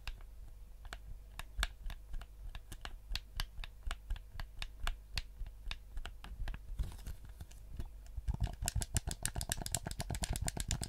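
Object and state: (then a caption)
Plastic game controller. Fingertips tap the shell and click the buttons of a black, hand-sized, hollow PS4-style plastic gamepad. Sharp, bright clicks and taps come at a steady, unhurried pace over a low, constant hum. Near the end they quicken into a dense, rapid run of clicks.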